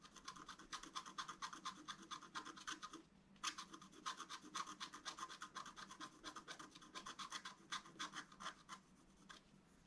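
A wooden stylus makes rapid, short scratches across a thin, solid, flat black wax-coated scratch-art card. The result is a quick run of dry, bright, raspy strokes with almost no low end, broken by a brief pause near the three-second mark before the scratching resumes.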